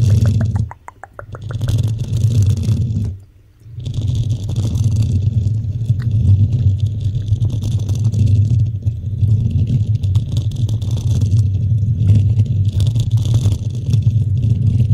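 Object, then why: Metal mesh microphone grille. Long nails on both hands scratch the top of a desktop microphone's hollow black metal mesh grille. The result is a dense, continuous low scraping rumble with faint bright hiss above it. It dips briefly to quiet near the start, where a few light ticks are heard, and again around three seconds before the scratching resumes steadily.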